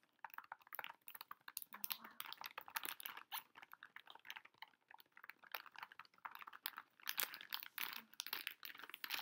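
A pink Pocky plastic foil pouch full of packs is held in both hands while long nails tap and scratch its front and the fingers crinkle it. The result is a quiet, dense stream of sharp, bright crinkles and clicky taps with almost no low end and no ring after each hit.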